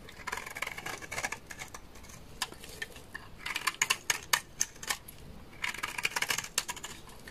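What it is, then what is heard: Dry laundry soap bar. A utility knife blade scrapes a large, solid, beige bar of dry laundry soap, giving bursts of crisp, dry, bright scraping and crackling. The scraping comes in three clusters of quick strokes with short pauses between them, and each stroke stops almost at once with no ring.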